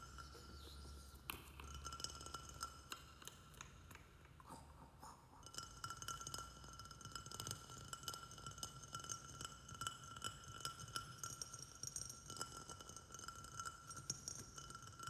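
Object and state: Glazed ceramic plant pot.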